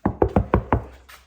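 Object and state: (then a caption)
Solid, deadened car door panel. Knuckle knocks on the metal skin of a car door covered with damping mat, on a fully damped section of the panel. Five short, dull thuds sit mostly in the low-mid range with almost no ring afterward. The treated door sounds solid and deadened, basically like concrete.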